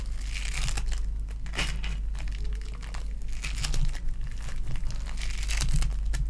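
A lilac foam bead clay ball is pressed, stretched and squished between the fingers and nails of both hands. Dense crinkling and crackling textures come in bursts, with bright, sharp pops over a steady low hum.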